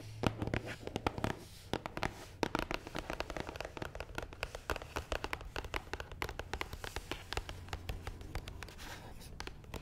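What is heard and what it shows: Long nails tap and scratch rapidly across the top of a long, hollow, black matte cardboard box. The result is a steady stream of short, dry, hollow clicks and raspy scrapes with a faint low hum underneath, each tap dying away almost instantly.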